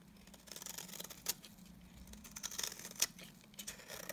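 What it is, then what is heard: Bar soap being shaved. A utility knife blade shaves strands off a solid, dry cream bar soap held in the hand. Quiet, bright, crisp scraping and crackling rasps come in irregular strokes, with two sharper clicking snaps standing out partway through.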